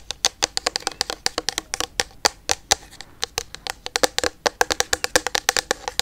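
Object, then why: Plastic liquid bottle. Long yellow nails tap rapidly on a full, medium-sized clear plastic micellar water bottle filled with pink liquid. Around forty quick, crisp taps sound, each a bright, clicky tick that dies almost instantly with almost no low end.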